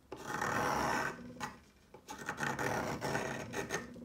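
A solid pale yellow chalk stick, held by fingertips, is shaved with the metal blade of a yellow peeler in repeated scraping strokes. A long, steady rasping scrape comes first, followed by a brief quieter pass and then a run of shorter, uneven grating strokes with a bright, gritty texture.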